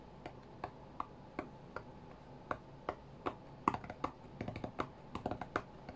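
Fingertips of both hands tap the glass touchscreen of an iPad lying flat on a cutting mat, as if playing a rhythm game. There are 22 short, dry, soft taps in an irregular rhythm, some spaced apart and others in quick bursts. Each tap has a light click around 1.1 kHz and no ring, over a quiet low background hum.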